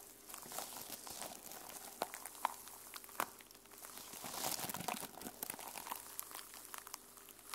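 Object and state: Sequin-covered journal being scratched.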